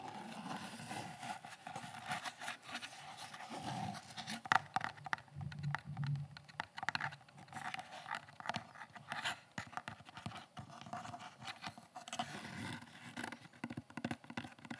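A hand-sized tan/olive molded kydex (plastic) gun holster, hollow and empty, is held close to the microphone and tapped and scratched with fingertips and nails. The result is a steady, quiet stream of dry scratching and rapid light plastic clicks with a hollow, mid-range tone, broken by a few sharper, louder taps around the middle. Each tap dies away almost at once.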